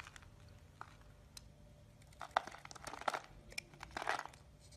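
A solid, hand-size green bar of soap is held in the palm while its edge is shaved and scraped with a metal blade. Soft, dry scraping and crisp crinkly shaving sounds come in quick bursts, sparse at first and then thicker and louder toward the end. A faint steady hum sits underneath.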